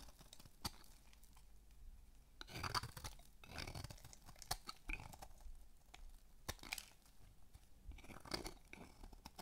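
A palm-sized solid pink bar of dry soap, held in the hand, is shaved with a metal blade. Quiet scraping and crunchy cutting strokes come in short bursts with a bright edge, separated by brief pauses.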